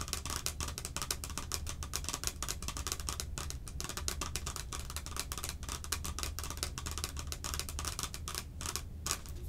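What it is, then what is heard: Plastic can-shaped container. Long acrylic nails rapidly tap the sides of a hollow, hand-sized clear plastic can-shaped Cherry Coke container held in both hands. The result is a dense, continuous stream of short, bright clicks and ticks over a steady low rumble. Each tap dies away almost instantly.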